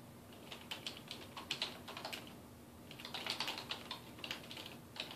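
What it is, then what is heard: Plastic computer keyboard. Fingertips type quickly on a dark plastic desktop keyboard resting on a wooden desk, producing dense, bright, clicky key taps in irregular bursts. A faint steady low hum runs underneath.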